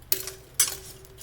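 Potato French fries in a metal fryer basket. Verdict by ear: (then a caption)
Crispy. Potato French fries, nice and brown after 15 minutes in an air fryer, are moved around in the basket in two quick, bright, crisp rattling bursts, with a faint steady tone underneath. The fries sound crispy and are cooked right through.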